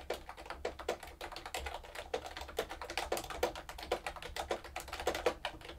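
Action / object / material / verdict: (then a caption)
tap / plastic mechanical keyboard / plastic / none. Long-nailed fingers type quickly on a plastic mechanical keyboard with round keycaps, giving a steady stream of short, dry clacks. Each keystroke has a hollow body near 500 Hz with bright, crisp clicks on top, and the sound dies away almost instantly between strokes.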